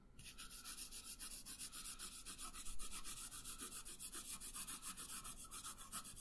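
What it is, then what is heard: Colored pencil shading on paper. A pink wooden colored pencil shades a thin printed paper coloring sheet lying flat on a wooden table, its tip rubbing back and forth in steady strokes. Each stroke gives a soft, bright, scratchy rasp, and the strokes repeat in a quick, even rhythm throughout.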